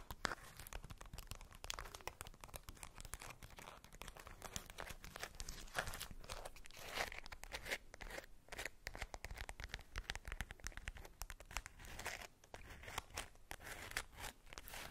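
A polka-dot tissue-paper-wrapped ball is scratched and squeezed with long patterned nails, giving a steady run of quiet, crisp crinkling and rustling. The sound has a papery, tearing-like texture with bright, dry edges and no ring, continuing without pause through the clip.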